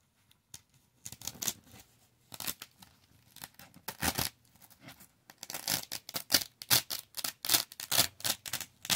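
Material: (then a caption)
Velcro fabric. Fingertips grip the corner of a thin, flat, solid yellow velcro fabric square, about palm-sized, and peel it off a black fuzzy loop board again and again. Each peel gives a short, bright ripping and tearing burst with little low end. The bursts come more quickly and loudly toward the end.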